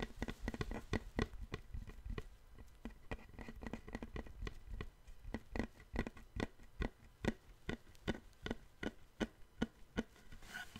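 A long, thin, flat, light-colored solid wooden plank, held in both hands, is tapped with fingertips and nails along its surface. Quick, dry taps with a hollow thump around 230 Hz and a short click on top come densely at first, then settle into slower, evenly spaced strikes in the second half. Each tap dies away almost instantly.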